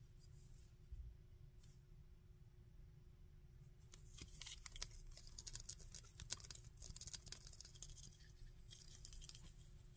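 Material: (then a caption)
Plastic. Fingernails tap and scratch the ridged shoulder pads of a small, painted plastic Dragon Ball Burter action figure. Quiet, dense, bright clicks and scrapes come in quick irregular bursts over a steady low hum, growing busier after the first few seconds and then easing off near the end.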